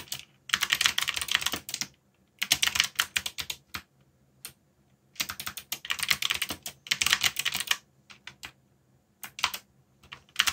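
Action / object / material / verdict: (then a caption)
tap / mechanical keyboard with plastic keycaps / plastic / none. Fingertips type rapidly on a backlit mechanical keyboard with plastic keycaps. Dense bursts of bright, crisp clicks alternate with short pauses. Each keystroke dies away almost instantly and carries very little low end.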